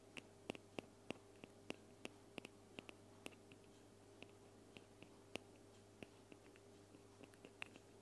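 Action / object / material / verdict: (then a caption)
tap / plastic spray bottle / plastic / none. A plastic spray bottle is tapped with quick, dry, clicky taps that fall at an uneven pace, around twenty of them over eight seconds. Each tap is very short, with a bright plasticky ring. A steady low hum sits quietly underneath.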